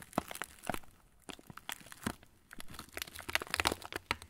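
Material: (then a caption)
Plastic. An opened yellow plastic TUC cracker wrapper, partly full of crackers, is crumpled and crinkled with the fingers of both hands. Quick, dry, bright crinkles and sharp crackles come in bursts, with brief quiet gaps near the first and middle of the clip, and each snap dies away almost instantly.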